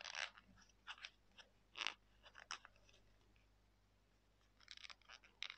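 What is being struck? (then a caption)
Folded sheet of thin paper. A small folded piece of thin white printer paper, held in both hands, is pinched and creased along its folds by fingertips and thumbnails, then rubbed and crinkled. Quiet, bright, crisp crackles and scratchy rustles come in short, irregular bursts, with a pause in the middle before a final flurry.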